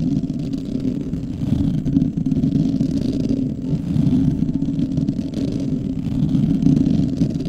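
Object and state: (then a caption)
Foam microphone windscreen being scratched. Fingertips of both hands scratch a fist-sized, soft, porous black foam windscreen fitted over a microphone. The result is a dense, continuous, muffled rustling scrape, concentrated in the low-mid range with almost no bright content. Its level swells and dips gently throughout.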